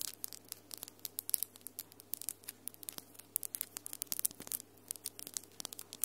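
Long acrylic nails with solid glitter polish tap and scratch against each other in a rapid, irregular run of sharp, bright clicks that die away almost instantly. The clicking sits quietly over a faint, steady low hum.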